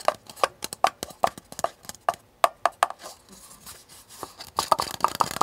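Fingernails tap and scratch the sides of a small, hollow, empty paper cup with a blue flower print while it is held tilted. The cup is then set upright on a table and picked up again. Quick, dry, papery taps with a mid-pitched tone around 680 Hz and almost no ring give way to a softer stretch of scratching, then a denser flurry of taps.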